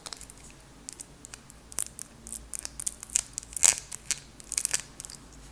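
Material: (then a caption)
Glass. Long acrylic nails tap and scratch a small glass candle jar with a purple label and a lid, holding solid wax. Quick, irregular bright clicks and scratchy ticks sound over a low hiss, each dying away almost instantly with no ring, all energy high and thin with almost no low end.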